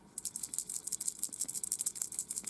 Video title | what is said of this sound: Happy new year in 2025. (+Bonus+). | you can hear that there are rattling inside which means that there are some broken pieces